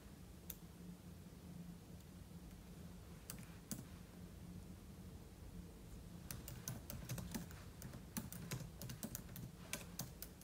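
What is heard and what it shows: Fingertips type on a silver aluminum laptop keyboard with plastic keys, giving sharp, bright key clicks over a steady low hum. A few scattered taps come first, then the typing turns into a quick, continuous run of clicks through the second half.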